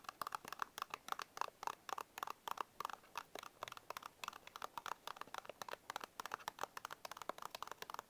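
Short fingernails scratch and tap the front and edge of a small printed paperboard Bisco biscuit box held upright. The result is a rapid run of dry, crisp taps and scratches, bright and papery around 1 kHz, each dying out almost instantly with no low end.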